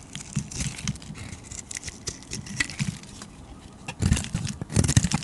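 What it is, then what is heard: Bar soap being scraped. A flat metal blade repeatedly scrapes and carves thin shavings from a palm-sized, solid purple and pink bar of soap held in the hand. Soft, dry crackling and crisp scraping come in quick irregular strokes, each with a dull low body and a bright edge. The strokes grow louder and denser in two bursts near the end.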